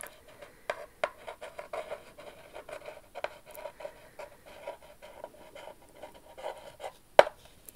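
Long rhinestone-covered acrylic nails tap and scratch across the flat front face of a small, hollow, purple printed cardboard box printed "It's Expensive To Be Me" that is held up. The result is a stream of light, papery taps and scratching rubs with a hollow midrange ring, and one sharp, louder tap near the end.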